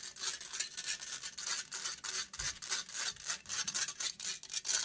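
Long grey nails scratch quickly across a metal wire-mesh microphone grille. The result is a steady run of rapid, bright, raspy strokes with a hissing high edge and almost no low end.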